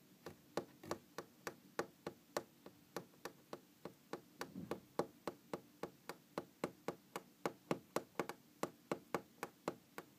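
Long green-painted fingernails tap and scratch a large solid wooden tabletop, giving about 38 quick, dry, quiet taps at a steady, slightly uneven rhythm. Each tap dies almost instantly, with a low woody body, and faint scratching runs between them.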